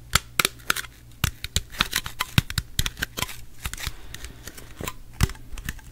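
Fingernails tap and scratch the sides of an unopened gold Pepsi aluminum soda can held in both hands close up. About 29 quick, bright, dry clicks ring off almost instantly between softer scratchy rustles, over a faint steady low hum.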